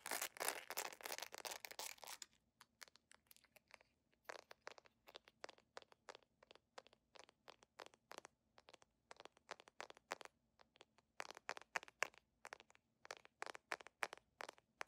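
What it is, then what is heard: Jelly plastic sandal. A translucent beige PVC jelly sandal with a bow and a metal clasp has its straps and footbed handled and scratched with fingernails. About two seconds of dense, bright, crinkly scratching give way to rapid, irregular, sharp plastic clicks and scrapes, with busier bursts near the end. The sound is quiet, dry and crisp, with no low rumble and almost no ring after each click.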